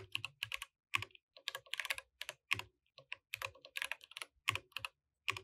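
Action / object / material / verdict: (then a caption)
tap / mechanical keyboard with plastic keycaps / plastic / none. Both hands type with their fingertips on a compact mechanical keyboard with plastic keycaps. The result is quick bursts of crisp, bright clacks separated by brief pauses. Each keystroke is short and dry, with almost no low end.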